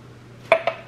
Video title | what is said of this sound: HOME VLOG: NEW RH BED IS FINALLY HERE! + NEW RUG ISSUES + GROCERY HAUL - JENNY JACKS | you hear how that sounds like glass